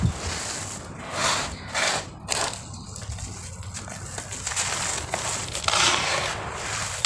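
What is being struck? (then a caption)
Cement-sand clumps. Solid, crumbly clumps of dry grey cement-sand are scooped from the same pile and crushed in cupped bare hands, then the powder is pushed and rubbed back into the pile. It makes repeated gritty crunching bursts with a bright, hissy grain over a soft low rumble, breaking down into a steady sandy scraping and rubbing.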